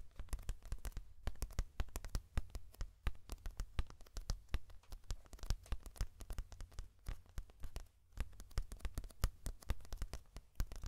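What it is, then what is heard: Paper puzzle booklet. Fingertips and short nails tap and scratch across the pages of a thick paperback puzzle book with black-bordered printed paper pages, held open upright close to a microphone. A fast, dense stream of short, dry clicks and scratchy taps runs throughout, each dying away almost instantly over a steady low hum.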